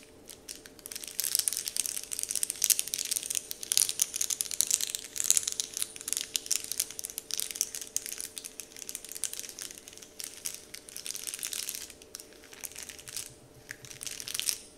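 Fingertips and nails scratch, lift and crinkle a large, flat, heart-shaped "Dove" printed wrapper sheet lying on a table. A continuous stream of bright, crisp crackles and rustles rises and falls in irregular bursts, with almost no low end. Each crackle stops almost instantly.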